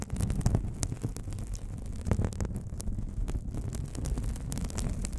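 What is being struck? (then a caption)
Thin paper sheet. A thin, hand-sized white paper sheet is held in both hands in front of a microphone while long nails scratch and crinkle its surface. The result is a steady, dense rustle, mostly low and muffled, broken by many quick, sharp crackles and ticks.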